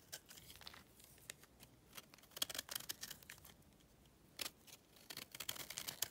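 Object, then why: Clay chunk scraped with a utility knife. A utility knife scrapes the top of a smaller, solid, pale block of dry clay held in hand, curling off crumbly flakes. The sound is a run of quiet, dry, bright scratches and crackles with a few louder scrapes, almost no low end, and each stroke dies away instantly.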